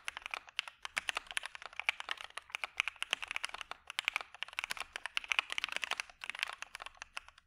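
A dark Maja mechanical keyboard with white PBT keycaps, a POM plate and PE foam is typed on continuously with the fingertips of both hands. A rapid, uneven stream of short, crisp clacks rings out, each dying almost instantly, with a bright, high-pitched tone and almost no low end.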